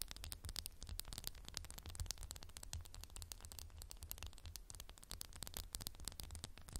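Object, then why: Glass candle jar. Fingernails tap rapidly and continuously on a candle in a textured glass jar, making quiet, bright, dry clicks that stop almost instantly. A steady low hum runs underneath the taps.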